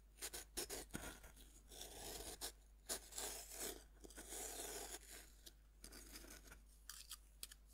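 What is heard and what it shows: A metal knife blade scrapes and scratches across the powdery surface of a fist-sized, solid pink pressed-powder bath bomb resting on a wooden board. Short, bright, dry strokes come in a quick irregular series, with longer gritty rasping passes between them and a soft hushed background.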